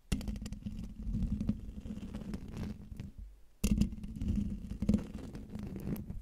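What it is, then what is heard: Metal mesh microphone grille being scratched. Fingertips and nails scratch the hollow metal mesh grille of a silver Blue Yeti microphone from above and from the sides. It makes a dense, low, close-up rasping with a steady low hum underneath. The scratching fades briefly just past the midpoint, then starts again louder and continues to the end.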